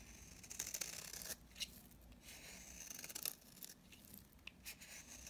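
A utility knife blade scrapes the surface of a dry, solid mint-green bar of soap held in the hand. It makes a series of bright, gritty rasping strokes with a sharp crackle and little low end.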